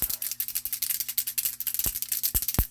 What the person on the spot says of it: Sounds like one of those paint cans.